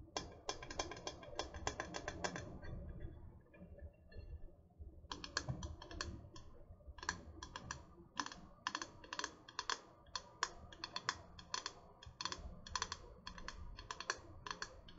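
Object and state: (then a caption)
Metal water bottle. Long nails tap the body and cap of a tall, hollow gold and purple metal water bottle held in the hand. The taps are quick, dry and bright, clicking with almost no ring. A dense flurry is followed by a brief quieter lull, then steady tapping resumes over a faint low hum.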